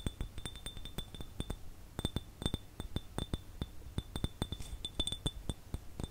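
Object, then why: Small clear glass jar without a lid. A small, empty, clear glass jar with no lid is held in both hands and tapped with the fingertips and nails. About thirty quick, separate taps each give a soft low knock and a short, bright glassy clink with a high ring that fades almost at once.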